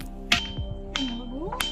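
A white stone is struck several times, each sharp tap ringing out with a bright, metallic, brass-like tone that holds a steady high pitch near 2.5 kHz. Soft background music with a gliding tone plays underneath.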